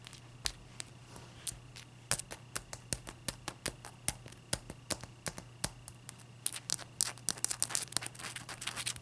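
Long dark-purple nails tap a clear, solid ice cube resting on a white towel, and the cube is tilted and set back down. Sharp, bright clicks with almost no ring come in a steady, spaced run, then grow faster and denser in a scratchy flurry near the end. A faint steady low hum runs underneath throughout.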